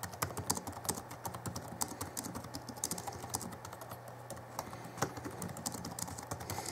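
Both hands type rapidly with their fingertips on the backlit plastic chiclet keyboard of an Alienware M11x R2 (2011) laptop. The result is a quick, uneven stream of short, bright plastic clicks that die away almost instantly. Under the clicks runs a faint steady low hum.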